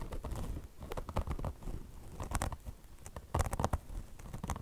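Long blue nails grip the sides of a beige mesh fabric chenille car wash sponge and scratch it, its mesh top over foam with chenille fringe. The result is a rapid run of dull, short scratching strokes with deep, muffled weight. A few sharper, brighter scrapes stand out near the middle and end.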